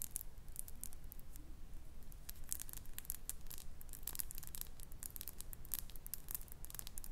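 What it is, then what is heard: Glass perfume bottle. Long nails tap and scratch a small faceted glass perfume bottle with a metal cap, filled with amber liquid and held in the hand. The result is a quiet, uneven stream of quick, bright clicks and light scratchy ticks, about two per second, over a steady low hum.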